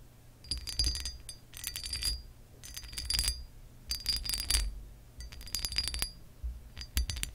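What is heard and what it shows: Long acrylic nails tap and scratch the lower textured part of a pressed glass lamp base. The result is irregular bursts of bright, glassy clinks and scratchy rasps, each with a short high ring, over a steady low hum.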